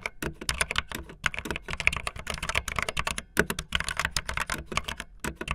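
Fingertips with long nails type fast on a backlit optical linear plastic mechanical keyboard with white and blue plastic keycaps. A rapid, uneven stream of sharp, bright plastic clacks follows, each dying away almost instantly, with a tone centered around 2.4 kHz and some low thock underneath.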